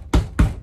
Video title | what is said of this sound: 💪🏻 GREAT New SUV Towable RV!! 2022 Apex 186BH | tapping on this thing to let you know it's solid